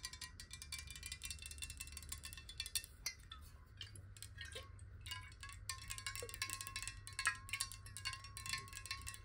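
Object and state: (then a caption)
Glass bottle partly filled with water. Fingernails tap quickly on a glass water bottle partly filled with water, giving a dense run of bright, glassy clicks with short, quickly fading ring. The pitch of the taps shifts as the water moves inside the bottle, over a faint low hum.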